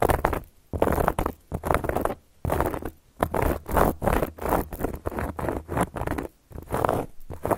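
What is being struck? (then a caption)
Cork board scratched with metal nail caps. A round, flat, solid cork board is scratched with long gold metal claw nail caps. Rough, raspy scratching strokes come in bursts of about half a second to a second, separated by brief pauses, with a dry midrange texture and a faint bright edge.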